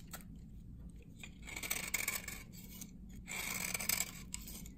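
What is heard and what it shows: A hand-held bar of dry, solid amber glycerin soap from 1978 is shaved across its face with a metal blade, peeling off dense dry curls. The sound is a bright, crisp scraping that comes in two longer, louder passes over a faint low background hum, with short sharp clicks and ticks in between.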